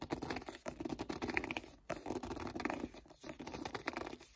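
Fingertips grip and rub the cover of a paperback book held upright, making dense, scratchy, pattering friction sounds. The rubbing comes in close bursts with brief pauses between them, and it stays quiet and dry with almost no ring.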